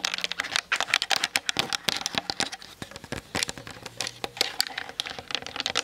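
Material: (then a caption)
Plastic. Long nails tap fast on the hollow plastic body and lens barrel of a Canon DSLR camera mounted on a tripod. The result is a rapid, uneven stream of short, bright clicks with very little low end, each dying away almost instantly.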